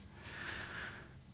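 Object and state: Nothing is struck.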